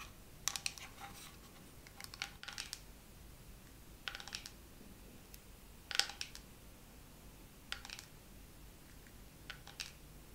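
A dermaroller case is tapped slowly with long nails, producing clusters of light, bright clicking taps. The taps are separated by pauses over a quiet background hiss, and each one dies away almost at once.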